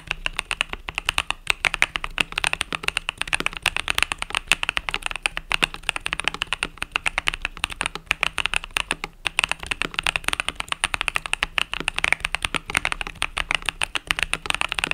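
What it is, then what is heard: Mechanical keyboard with plastic keycaps being typed on. Fingertips type rapidly on a compact mechanical keyboard with pastel purple-yellow plastic keycaps. A steady, dense stream of short, bright plastic clacks comes through with almost no ring after each keystroke. The typing continues evenly throughout, with little low-end thump.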